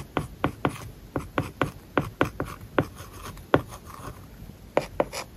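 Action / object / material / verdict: scrape / tablet screen with matte plastic film, written on with a stylus / plastic film / none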